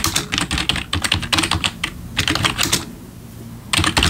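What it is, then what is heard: Plastic membrane keyboard being typed on. Bare fingertips of both hands type on a full-size black plastic membrane gaming keyboard with RGB backlit keys, resting on a wooden desk. Rapid, bright plastic key taps come in quick bursts, pause briefly near the end, then resume.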